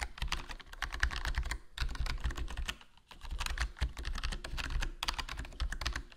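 Fingertips type continuously on a HyperX Alloy Core RGB plastic membrane gaming keyboard with a foam mod, a black plastic body, black plastic keycaps and a hollow case. Rapid, soft keystrokes give deep, muffled thuds with short bright clicks on top, and each one dies away almost at once. Brief pauses come near 1.7 and 3 seconds.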